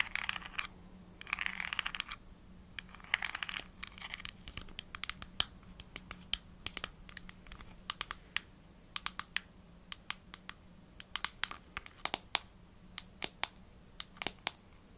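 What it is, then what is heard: Plastic supplement bottle. Long nails scratch the ridged pink plastic screw cap of a small hollow plastic vitamin gummy bottle with a red label, then tap on its labeled side. Early on come short bursts of bright, rasping scratches, followed by a steady run of quick, sharp, high-pitched clicking taps that stop dead with no ring, over a faint low hum.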